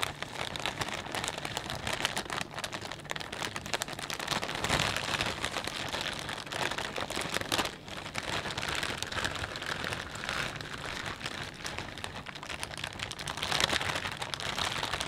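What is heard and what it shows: Fingertips press and crinkle a clear plastic bag full of potato chips, then both hands hold and squeeze it. The result is a steady, dense stream of bright, crackling plastic crinkles with almost no low end, swelling slightly louder near the end.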